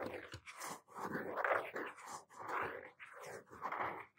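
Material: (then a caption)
Cardboard. A medium-sized blue hardcover notebook with a cardboard cover is held upright in both hands, thumbs on the front, while the fingertips tap and scratch the cover. The result is quiet, dry scratching and soft tapping that rises and falls in overlapping swells, concentrated in the midrange around 1 kHz with almost no low end.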